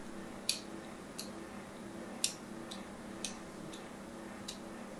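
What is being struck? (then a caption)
Soap bar scratched with a thin needle. A thin needle scratches a solid white bar soap with an embossed logo in short strokes, making seven brief, bright, dry ticks at uneven intervals. The scratches are short and high-pitched, with almost no ring, over a quiet, steady low background hum.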